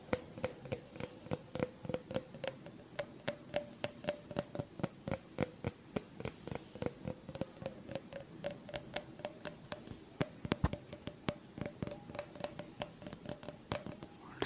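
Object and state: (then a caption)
Small glass jar. A small, clear, empty-looking glass jar held in both hands is tapped rapidly with the fingernails. Dozens of short, crisp clicks follow in an irregular rhythm, each with a brief hollow glassy ring around a mid-pitched tone and a bright high edge. The taps die away almost instantly.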